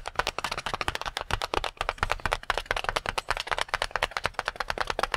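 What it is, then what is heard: Water-filled latex balloon. Fingertips quickly tap and pat a full, palm-sized, red-and-white latex water balloon. About 29 short, dry, slapping taps come in a steady run, each with a bright, crisp top and a soft, low thump, and they die away almost instantly.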